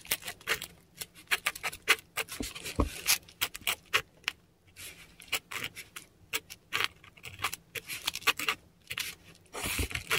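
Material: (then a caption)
Paper. A metal dip pen nib scratches across a flat, textured Korean paper sheet while writing characters in ink. Short, bright, scratchy strokes come in quick bursts with brief quiet gaps, over a faint low hum.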